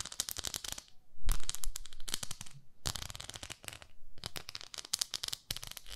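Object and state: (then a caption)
Plastic facial cleansing brush tapped and scratched with nails. Long nails tap and scratch across the surface of a pink plastic facial cleansing brush, a pink plastic pad with a handle. The sound is a dry, bright, crackly stream of rapid clicks in bursts, separated by short quiet gaps, with a low, soft thud beneath some of the taps.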